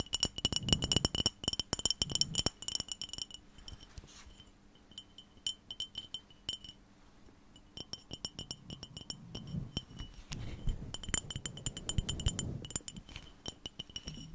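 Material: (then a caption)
Glass. A small clear glass jar with a lid, held in both hands in front of a fluffy mic cover, is tapped with fingertips and nails and tilted or shaken. Quick, bright glassy clinks ring around 3 kHz, dense at the start, sparser in the middle, then busy again toward the end.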